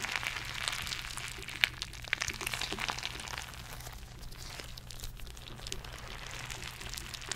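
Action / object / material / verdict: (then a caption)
scrape / rubber stress ball with glitter filling / rubber / none. A palm-sized purple squishy stress ball with a soft rubber skin and glitter or beads inside is held close to the mic and squeezed, tapped and scratched with long painted nails. Dense, bright crinkly scratching fills the clip, punctuated by a few sharp clicks, over a steady low hum.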